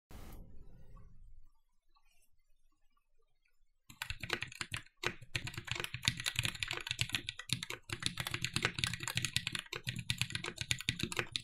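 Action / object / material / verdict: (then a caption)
tap / mechanical keyboard with aluminum plate and plastic keycaps / aluminum, plastic / none. A compact red-cased TGR 910 SE mechanical keyboard with black plastic keycaps, a hollow case, an aluminum plate and Cherry MX "Vintage" Black switches sits on a desk mat and is typed on rapidly with the fingertips of both hands. A brief low tone fades out over the first second and a half, followed by near silence until about four seconds in. Then a dense, continuous stream of sharp, bright keystroke clacks with a low thock underneath runs to the end.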